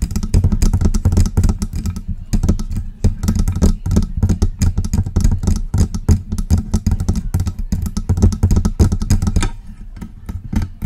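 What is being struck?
Metal desktop microphone body.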